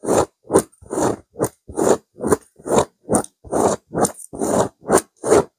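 Long pink-white nails on both hands scratch and rake across a soft, stuffed grey chevron-textured woven pillow. Thirteen separate, irregular strokes make dry, rough scratching rasps, with each stroke cutting off quickly.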